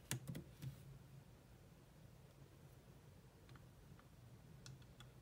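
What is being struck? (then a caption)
Laptop keyboard with plastic keys. Long nails and fingertips type on the black plastic chiclet keyboard of a grey laptop, producing short, bright clicky key taps. A quick burst of taps at the start gives way to sparser, quieter taps spread over the rest of the clip, above a steady low hum.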